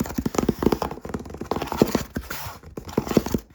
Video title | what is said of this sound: LoFi ASMR Tapping up to the Camera - Fast & Aggressive Visual Triggers | boom that was the cardboard box